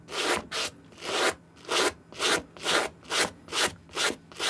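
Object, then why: Suede sneaker scrubbed with a bristle brush. A white plastic suede brush scrubs the toe, side and tongue of an empty green suede Nike SB sneaker held in the hand, using back-and-forth strokes. Each stroke makes a dry, bright, hissing rasp with almost no low end, repeating in a slightly uneven rhythm of about two strokes per second. Short quiet gaps separate the strokes.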